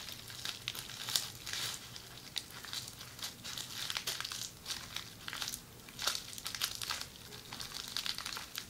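Fingers with long red nails squeeze, crinkle and scratch an upright roll of red plastic bubble wrap. The result is a steady stream of soft, bright crinkling and crackling with little low end, broken by sharper snaps and brief louder rustles.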